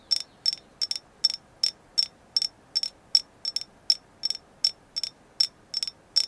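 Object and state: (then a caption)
Agate stone carving. A carved agate moon goddess figure is tapped 19 times in a steady series. Each tap gives a short, bright, high-pitched click with a quick glassy ring that dies away almost at once, over a faint background hiss.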